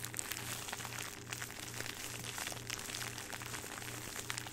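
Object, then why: Thin plastic bag. Fingertips squeeze and crumple a thin, hollow clear plastic bag with a small jewelry item inside, held in both hands close to the mic. Bright, dense crinkling crackles steadily throughout, over a faint low pulsing hum.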